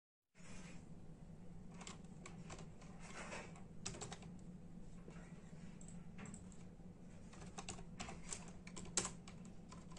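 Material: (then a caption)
Plastic. After a brief silence, bare fingertips of both hands type in a steady, rapid tapping on a full-size black and silver plastic membrane computer keyboard with hollow keys. The clicks are soft and clattery with bright edges, over a constant low hum. Louder, sharper strikes stand out near the end.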